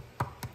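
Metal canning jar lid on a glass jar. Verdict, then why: Hollow. The metal lid of a freshly processed, still-hot glass canning jar of bruschetta is tapped twice, giving two short, hollow, low ticks with almost no ring. The lid sounds hollow because the jar has not yet cooled and formed its vacuum; once it cools, it should give an even tap.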